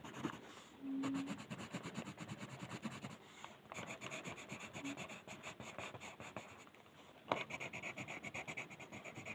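A blue colored pencil rubs a flat white paper mandala coloring sheet on a table with rapid back-and-forth shading strokes while the other hand steadies the sheet. The result is a steady, dry, scratchy rasp of quick, rhythmic strokes with a bright papery hiss, broken by brief pauses near 3.4 and 7.2 seconds before the shading resumes.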